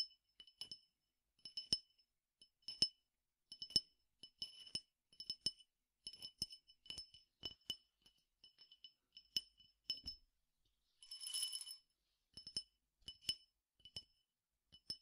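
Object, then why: Glass tumbler with peppercorns. A clear glass tumbler, held in the hand and partly filled with peppercorns or seeds, is tapped with fingernails in about thirty quiet, bright, high clinks that die away almost instantly. Near the end, a brief hissing rattle of the grains breaks up the tapping before the clinks resume.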